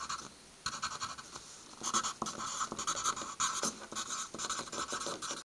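A hand draws and writes doodles such as stars and words with the graphite tip of a red wooden pencil on a stack of white paper sheets resting on a wooden table. Bursts of bright, dry scratching come in quick, uneven strokes, with a steady rasp centred near 1.3 kHz and little low end. It stops abruptly at the end.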